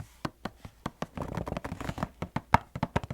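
Fingers tap and knock on a cardboard Bob's Red Mill instant oatmeal box, producing a quick series of short, dry, hollow thuds with a soft scratchy rustle between them. Each tap dies away almost instantly, and the sound is mostly low and muffled.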